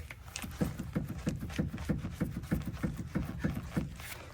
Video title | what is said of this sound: The REAL Reason I Came To CT!!! | when I shake the sway bar, it does make a knocking noise